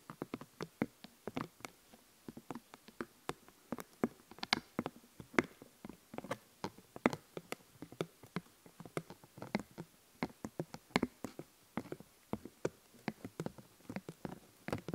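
Long painted nails scratch and pick at a thin paper sheet of Scooby-Doo stickers held in front of the recorder. The result is a quiet, steady run of dozens of sharp, dry clicks and brief scratchy ticks that spread from low to bright highs. Each one dies away almost instantly.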